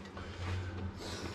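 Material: Nothing is struck.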